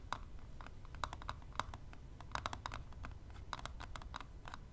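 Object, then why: Plastic eyelash extension palette. Long nails and tweezer tips tap quickly along the lid of a closed plastic eyelash extension palette lying flat. A rapid, uneven run of short, dry plastic clicks rings around 1 kHz with bright high edges. The clicks sit over a quiet, low rumbling background.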